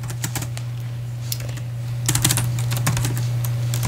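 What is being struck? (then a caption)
Laptop keyboard with plastic keys. Fingertips of both hands type on the white plastic keys of a silver laptop resting on a padded sleeve. Light, bright key clicks patter in an uneven rhythm over a steady low hum, growing denser and slightly louder in the second half.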